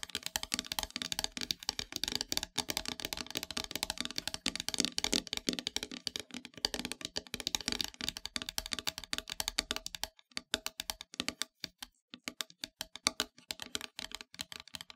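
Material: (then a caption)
Wood. Long metallic nails tap quickly near the top edge of a flat, solid, dark painted wooden heart-shaped plaque. The taps are rapid, bright and dry clicks with almost no ring, packed densely for about ten seconds before thinning into sparser bursts separated by short pauses.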